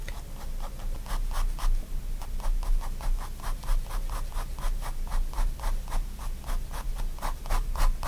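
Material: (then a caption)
Paper. A fine-tip pigment liner pen makes small hatching strokes on a spiral-bound white paper sketchbook page lying flat on a wooden desk. A steady run of short, dry, bright scratches repeats at about four strokes per second over a constant low background rumble.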